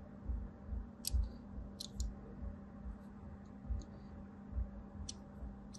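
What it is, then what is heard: Bar soap being carved. A small blade carves parallel lines into the top of a solid white embossed bar soap held in the palm. Soft, dull scraping cuts with occasional bright crisp clicks repeat at an uneven pace over a low rumble and a steady low hum.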